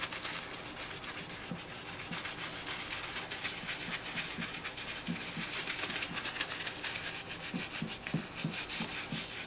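A black and green high-top sneaker, likely leather or synthetic leather and covered in white cleaning foam, is held in one hand and scrubbed with a toothbrush in the other. The result is a steady, bright, scratchy brushing rub with a wet, lathery texture from the foam, and a faint low tone pulsing underneath.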